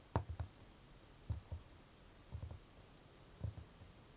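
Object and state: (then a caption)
Wooden chest of drawers, hollow panel. Fingertips and short nails of one hand tap and drum on the hollow drawer panel at the front of a large, glossy varnished wooden chest of drawers (tansu). Four short bursts of quick, soft taps produce low, hollow knocks that die away almost instantly, with near silence between them.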